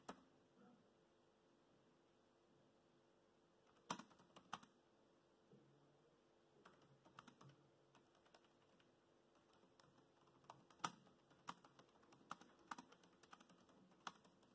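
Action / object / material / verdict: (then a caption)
tap / plastic laptop keyboard keys / plastic / none. Fingertips type on the black plastic chiclet keys of a dark grey laptop. Short, bright, quiet clicks come in irregular bursts with pauses between them, over a faint steady background hum.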